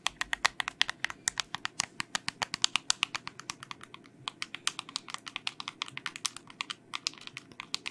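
Long nails tap rapidly on the coloured buttons and case of a small, hollow, white plastic LED remote control held in the hand. About 56 quick, dry, bright clicks sound in an uneven, typing-like rhythm. Each one dies away almost instantly with no low-end body.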